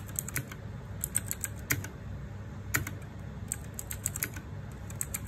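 Fingertips type continuously on a small 60% RGB-backlit mechanical keyboard with plastic keycaps, producing quick, bright clacks in an irregular rhythm. Each keystroke is short and dies away almost at once, with a low steady rumble underneath and a few louder strikes standing out.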